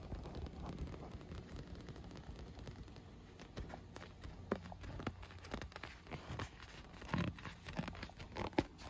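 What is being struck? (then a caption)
Inflated PVC vinyl pool lounger. Long nails tap and scratch an inflated, rainbow-colored PVC vinyl pool lounge that is hollow and air-filled. Soft, dull taps and scratchy rustling sit mostly in the low end, with a few sharper, louder taps standing out near the end. Each hit is short and dies away almost at once.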